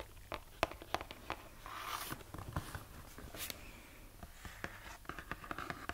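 Long nails scratch and tap on the surface of a roughly book-sized purple printed cardboard box of brookie baking mix that has contents inside. Quiet, irregular, dry clicks sit among soft, papery scratching swells, and each tap dies away almost instantly.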